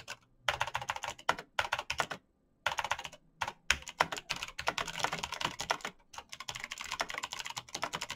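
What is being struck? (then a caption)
Plastic mechanical keyboard. Bare fingertips type fast on a black plastic mechanical keyboard with clicky switches. Dense, bright, sharp clicks come in quick bursts, broken by a few short pauses.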